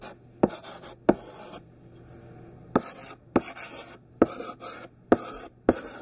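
A thick stick of chunky pink sidewalk chalk, held in the fingertips, is dragged over a black painted chalkboard to write letters. Dry scratching strokes are punctuated by seven sharp, short taps as the chalk meets the board.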